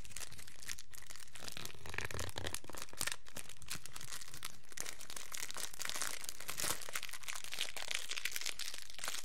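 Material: Plastic film.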